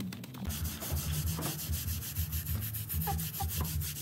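A gloved hand scrubs a small, flat printed synthetic doormat rug with a low pile, lying on a tiled floor and sprinkled with white powder, back and forth with a stiff-bristled hand brush. A continuous gritty, low rumbling scrub swells with each stroke, under a bright bristly hiss.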